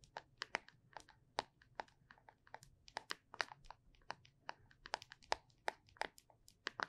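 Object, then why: Small plastic putty tub. A small, closed, cylindrical plastic putty tub is held sideways in both hands while long nails tap and scratch along its bottom edge and label. Around thirty quick, sharp, dry clicks with bright tops come at an irregular pace, with faint scratchy rustles between them. Each tap dies almost instantly, with very little low end.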